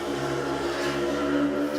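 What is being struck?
Nothing is struck.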